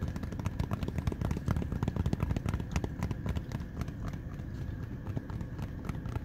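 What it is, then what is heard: Rubber running shoe sole. Fingertips tap and scratch along the rubber outsole and foam midsole of a running shoe with a mesh upper. The result is a steady stream of quick, dull, low taps with soft scraping between them and almost no ring. The taps are loudest in the first half and ease slightly toward the end.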